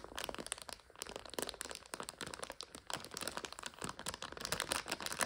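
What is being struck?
Plastic bag of dry noodles.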